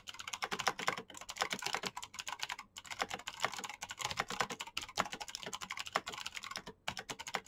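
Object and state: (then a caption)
Plastic mechanical keyboard. A black Razer mechanical keyboard with plastic keycaps and clicky green switches is typed on very fast with the fingertips of both hands. A dense, steady stream of sharp, bright clicks with almost no low end is broken only by a few brief pauses.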